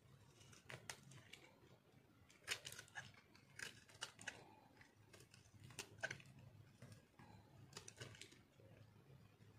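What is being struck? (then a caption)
Bar of soap cut with a metal knife. A metal knife shaves and cuts crunchy slivers from a solid, dried orange-yellow soap bar with green specks, held in hand. Dry, crisp crunching and scraping strokes come at an irregular pace, each short and bright with no ring. A faint low hum sits steadily underneath.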